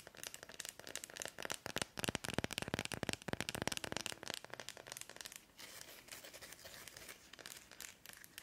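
Long almond-shaped nails tap and scratch the wooden back and fabric hand strap of a round, palm-sized, solid wooden (bamboo-like) dry body brush held in both hands. The bristles may add to the sound. A fast, irregular stream of dry, bright, crinkly clicks and scratches is heard, denser and louder in the first half, then settling into a softer, steadier scratching after about five and a half seconds.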